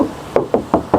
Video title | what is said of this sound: REVIEW HONDA WRV 1.5 RS MATIC 2023- KONDISI ISTIMEWA | Tuh masih kedengeran banget kalengnya